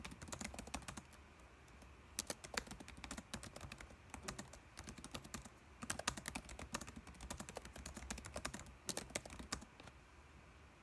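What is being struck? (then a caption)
Plastic laptop keyboard keys. Fingertips of both hands type on a dark laptop keyboard with plastic keys. The result is a quiet, steady stream of short, dry plastic clicks in uneven bursts with brief pauses, over a faint low hum.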